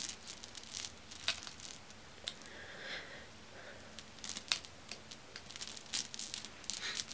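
A hand with long red nails strokes and stirs a pile of solid, dark, glossy glass marbles resting on a fuzzy cloth. Quiet, bright clicks and light rattles are heard as the marbles knock together, each dying away almost instantly, with a brief softer swishing in the middle.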